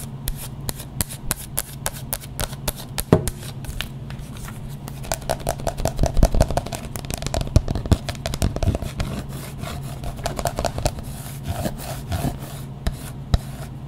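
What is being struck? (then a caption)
Wax candle shell over a plastic inner pot. Close-up scratching and tapping on the wax outer shell of a battery-powered candle with a plastic inner pot, slightly dirty. Many quick, dry taps and scrapes sound over a steady low hum, each fading almost instantly.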